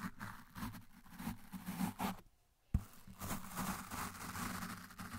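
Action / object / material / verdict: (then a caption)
scrape / foam microphone windscreen scrubbed with a plastic toothbrush / foam / none. The bristles of a blue plastic toothbrush scrub the side of a large, dark, soft and porous foam windscreen on a microphone, with the brush pressed into the foam the whole time. This makes a dense, muffled, low rumbling scratch with soft brushy hiss above it. The scrubbing breaks off into near silence for a moment, then a sharp thump restarts it and it carries on to the end.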